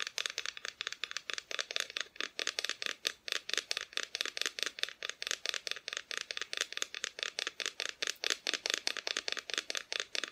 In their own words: This cute little decoration, and it's just a little wooden decoration with Mr. Claus and Mrs. Claus and their tree.